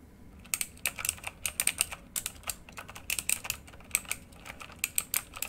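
Both hands type with their fingertips on a full-size backlit RGB mechanical computer keyboard, its plastic keycaps set in a hollow housing and lying flat. A quick, uneven run of sharp, bright clicks and clacks follows, each keystroke dying away almost instantly, with very little low-end body.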